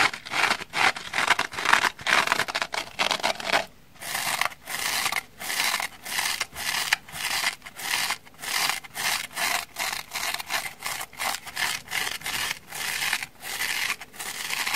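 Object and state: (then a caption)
Dry foam sponge with scouring pad, scratched. A small, dry orange foam kitchen sponge with a black scouring pad is held in the hand and scratched with long nails, first on the black scouring face and then on the porous orange foam side. The first part is a dense, fast, bright scratching hiss. After a short pause it turns into a steady rhythm of separate rasping strokes with almost no low end.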